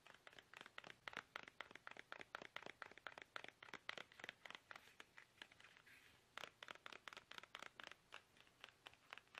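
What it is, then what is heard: Plastic toothpaste tube. Fingertips tap fast on a small, soft, hollow plastic toothpaste tube held upright in both hands, making a rapid run of dry, clicky taps with a crinkly, papery edge. The taps are bright, centred around 2 kHz with almost no low end, and each dies away instantly. There is a brief lull around the six-second mark before the quick tapping resumes.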